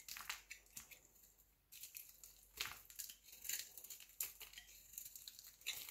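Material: Soap.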